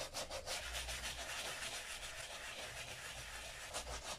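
A wooden-backed bristle brush scrubs saddle soap foam into an empty brown Sperry Top-Sider leather boat shoe with a white sole, resting on a black towel, and then a gloved hand wipes it with a microfiber cloth. The result is a steady, bright, hissy scrubbing and rubbing sound in loosely rhythmic strokes, with a faint low hum underneath.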